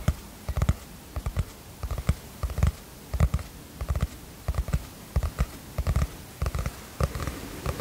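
A teal cardboard hardcover notebook, held upright, has its cover tapped with long fingernails. The result is a string of short, dull, low-pitched taps that land in uneven little clusters and die away almost at once.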